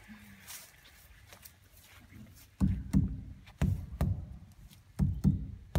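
Water storage tanks are knocked repeatedly to check their level, giving a series of low, hollow thuds with a short ring after a quiet lead-in. The hollow sound shows these tanks are not full.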